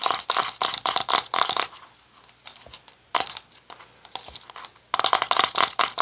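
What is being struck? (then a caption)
Small plastic cosmetic jar. Fingertips and short nails tap and scratch the lid of a small round red plastic cosmetic jar held in both hands. Rapid, bright, clicky taps come in three dense bursts, with quieter scratching in the pauses between them. Each tap is dry and dies away almost instantly.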